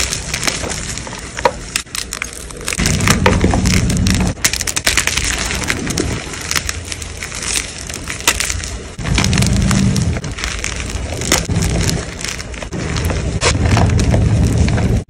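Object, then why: Block of gym chalk (magnesium carbonate). A white gym chalk block is broken into pieces, squeezed and crumbled in cupped hands with long pale nails over chalk powder. The sound is a dense run of fast, dry crunches and crackles with bright gritty detail. Heavier, lower-toned crushing bursts come in stretches, around 3–4 s, 9–10 s and 13–15 s.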